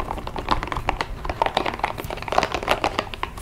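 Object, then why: Small rubber spiky massage ball. A small, hollow, hot-pink spiky rubber massage ball is held in both hands and tapped and squeezed with long acrylic nails. The result is a fast, uneven run of dry, clicky taps with a midrange hollow tone around 715 Hz and bright tips. Each tap dies away almost at once.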